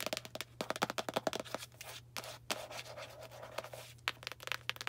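A small Arm & Hammer cardboard baking soda box, held in hand, is scratched and tapped with long nails. Quick, dry, bright taps alternate with a stretch of continuous rasping scratches. A faint steady low hum sits underneath.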